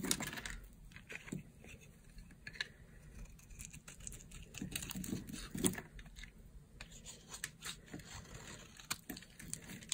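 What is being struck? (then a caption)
Bar of soap scraped with a small blade. A small blade carves and scrapes a solid white bar of dry soap held in the palm, throwing off crunchy shavings. Quiet, dense scraping and crackling with frequent brief, bright crunches and clicks continue throughout.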